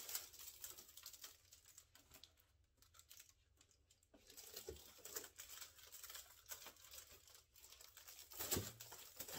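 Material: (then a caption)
Mylar foil. A large, hollow, air-filled metallic foil (mylar) balloon shaped like a shark is held in both hands while the fingertips squeeze and rub its surface. The result is a continuous bright crinkling and rustling with soft patters and taps, quieter in the middle, then rising to a sharper, louder crackle near the end.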